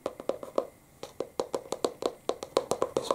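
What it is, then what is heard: Hardcover book. A medium-size, solid, closed green hardcover Narnia book, held upright in one hand, has its front cover tapped with the fingertips of the other hand. Nineteen short, dry, hollow taps centered around 540 Hz die away almost instantly, coming in quick uneven bursts with a brief pause after the first few.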